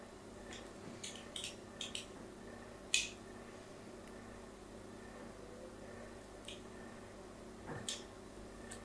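A solid pink "Absolut" soap bar held in the hand has its surface scratched with a pointed metal tool. About eight short, bright, crisp scraping clicks rise above a quiet, steady hiss, with the sharpest one near the three-second mark. Each dies away almost at once.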